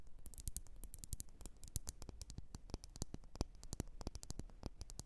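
Long nails tap and scratch quickly on a lit, wax-filled red glass candle jar. Rapid, crisp clicking taps with bright, sharp edges come in a dense, uneven patter over a low background rumble. Each tap dies away almost instantly, and the whole clip stays quiet.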